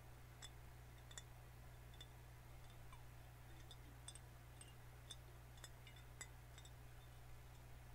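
A full green glass soda bottle is held in the hands while fingernails tap and scratch across the glass and its label. Thirteen light, bright clicks with short high rings stand out over a quiet, steady low hum.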